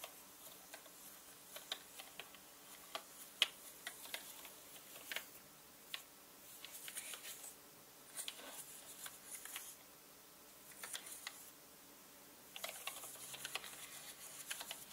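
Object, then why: Plastic mechanical keyboard keys. A small orange-bristled paintbrush brushes and flicks the hollow plastic keycaps of a full-size black mechanical computer keyboard resting on a red cloth. Quiet, bright ticks and light key clicks come in scattered bursts with soft brushing hiss between them, then a denser stretch of rapid clicking near the end.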